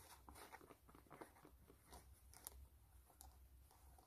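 Long nails scratch the canvas upper of a white canvas low-top sneaker, held sideways, near the eyelets and rubber foxing; the shoe is hollow and empty. Soft, dry scratching and crackling comes in quick bursts with bright edges, over a steady low hum. The sound stays quiet throughout, and each scrape dies away almost at once.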